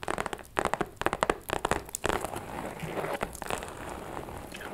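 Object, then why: Small faux leather shoulder bag. Long nails tap and scratch a closed, hollow, small pink metallic faux leather shoulder bag with a chain strap. A quick run of dry, crackly taps over the first two seconds gives way to a steadier scratchy rustle, with each tap dying away almost instantly.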